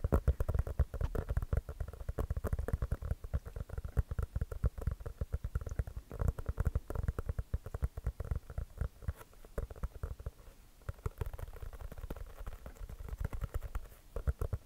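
An inflated, hollow composite leather basketball is held beside the mic and tapped quickly with the fingertips on its pebbled surface. The result is a steady, rapid patter of short, deep, hollow thumps with almost no ring, heavy in the low end. The tapping eases a little in the middle before picking back up.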